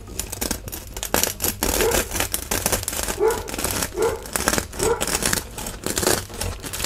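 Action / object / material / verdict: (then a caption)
scrape / bread loaf crust / bread crust / none. A large, solid, round crusty bread loaf, held by hand on a wooden board with one slice already cut beside it, is sawn with a serrated metal knife to cut another slice. The knife strokes make a steady run of dry, bright crackling and crunching as the crust breaks.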